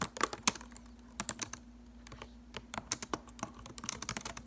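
Long acrylic nails type rapidly on a silver laptop keyboard with plastic keys. The sound is a fast, irregular run of sharp, bright clicks and taps, with short pauses, over a faint steady low hum.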